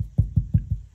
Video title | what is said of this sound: How To Run The Starlink Cable Into Your House | I just tap the wall to figure out where the hollow spots are.